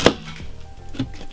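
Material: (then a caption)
Gypsum plaster. A hammer is struck into a standard BA13 gypsum plasterboard, giving a sharp, dull thud followed by a softer second knock. The hammer goes straight through the board, leaving a hole.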